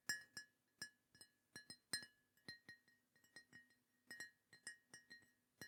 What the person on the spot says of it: it sounds great when you're tapping on it as well. It's got a really nice glaze on it, I assume, that just makes it sound lovely.